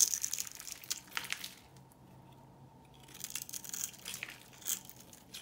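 A knife blade carves and scrapes thin flakes from the face of a solid, white, hand-sized rectangular soap bar held in one hand. It makes dense, crisp, bright crunching and scratchy scraping, with a quiet pause in the middle before the carving resumes in short bursts.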